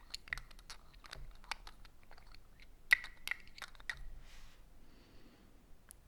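A Cool Water perfume bottle, with a bulky body and a big pinch at its bottom, is tapped with light fingertip touches. A quick, uneven run of bright, dry clicks with a faint ringing tone near 2 kHz follows, with one sharper tap standing out before the tapping fades to a soft rustle.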